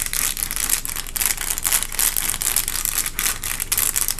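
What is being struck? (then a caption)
Textured paper liner in a cardboard box. Long acrylic nail tips tap steadily on a wavy, textured white paper liner inside a cardboard box. The result is a dense run of quick, dry, crinkly clicks, bright and papery with little low end. Each tap fades almost at once.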